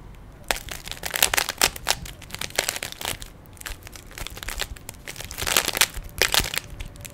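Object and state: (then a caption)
Plastic puzzle cube. Fingertips twist the layers of a small, hollow plastic 3x3 Rubik's cube with stickers. Rapid bursts of bright, dry plastic clicks and crinkly rattles come in quick flurries. Brief, quieter pauses fall between them.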